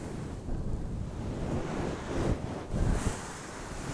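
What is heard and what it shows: Both hands cup and rub a fist-sized, soft, fluffy synthetic-fur windscreen on a handheld microphone, using fingertips and long nails. The result is a continuous muffled rubbing and scratching, heavy in low rumble, that swells in brief louder surges.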